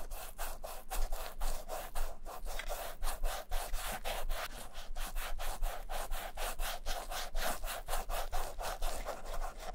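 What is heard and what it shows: Black nitrile-gloved fingers rub and buff the side and toe of a vintage black leather Camper shoe held in a bare hand while it is cleaned and restored. The result is a steady run of quick, dry rubbing strokes, about two per second, each a brushy burst of bright hiss over a soft low rumble.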